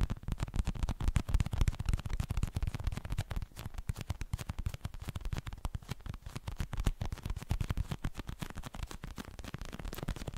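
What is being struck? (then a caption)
Plastic gel-filled cushion pad. A pink translucent plastic gel cushion pad filled with gel beads is held up in one hand while fingertips and nails tap and scratch its plastic surface. The result is a dense, irregular stream of quick, soft, muffled taps with a low, thuddy body and very little brightness, each dying away almost instantly, with faint scratchy rustle between them.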